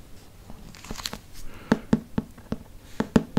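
Fingertips and nails tap and trace the front of a large, solid hardcover Harry Potter book with a glossy printed cardboard cover, held upright. Soft brushing and scratching at first give way to a series of sharp, dull taps with a low-mid thump and almost no ring.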